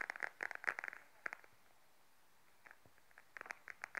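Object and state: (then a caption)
Patent faux leather wallet. Long nails tap and scratch the surface of a small beige glossy patent faux leather wallet held upright in both hands. Quick, dry clicks and light scrapes with a bright midrange tone come in dense bursts at the start and the end, separated by a quiet pause. Each tap dies away almost instantly.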